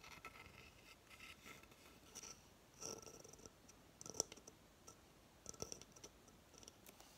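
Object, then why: Coconut shell hamster hideout. Long fingernails scratch the fibrous surface of a hollow coconut shell hamster hideout base. Quiet, bright, dry scratching comes in short irregular bursts, with a few sharper clicks standing out and almost no low end.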